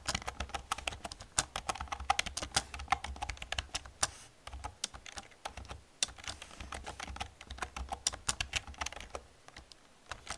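Fingertips with long nails type rapidly on a black plastic computer keyboard resting on a wooden desk. A dense stream of sharp, bright clicks and clacks from the keys runs throughout, with brief pauses, over a faint steady low hum.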